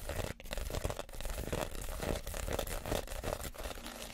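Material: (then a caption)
Reed. Fingernails scratch across the woven outside of a small empty woven reed basket, making a continuous dry, crinkly rasping. The scratching stays fairly steady in level, with brief dips, over a low, heavy rumble.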